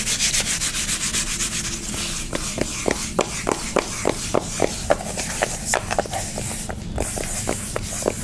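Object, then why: Cardboard makeup palette. Long nails rub and scratch a flat, rectangular, pink soft-touch cardboard eyeshadow palette held in the hand. The first two seconds are fast, breathy brushing strokes with a bright hiss. These give way to about fifteen sharp, dry scratches and taps with a mid-pitched papery click over a low steady hum.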